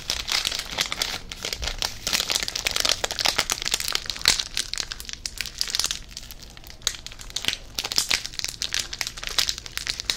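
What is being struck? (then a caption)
Foil snack wrapper. A small, full yellow inner foil packet from a Pepero box is crinkled and squeezed with the fingers. It gives a steady stream of dense, bright crackles and crinkles that rise and fall in loudness. The sound has almost no low end, and each crackle dies away quickly.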